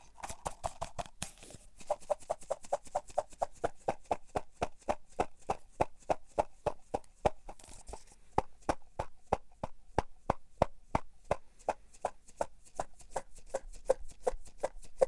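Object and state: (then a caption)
Plastic cotton swab container. A small cylindrical plastic cotton swab container with a printed orange label is held in both hands, tapped and handled with long painted fingernails while being tilted and turned. It gives a rapid, steady series of about 65 short, dry clicks with a hollow midrange tone, each tap cutting off almost instantly, with faint bright rustle between them.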